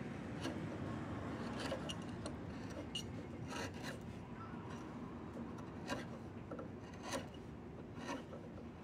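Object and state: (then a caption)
Diamond willow walking stick. A chisel scrapes along a long, solid diamond willow walking stick held across the lap. A steady, dry rasping fills the clip, weighted toward the low-mids, with brief bright scratchy accents as the blade catches the wood.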